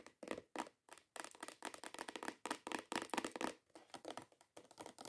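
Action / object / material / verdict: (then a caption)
tap / cardboard box / cardboard / none. Long nails tap quickly and scratch across the top surface of a hollow, cream-colored cardboard perfume box. The result is a dense run of short, dry taps mixed with papery scratching bursts, brief pauses between the flurries, and a slight hollow resonance from the box.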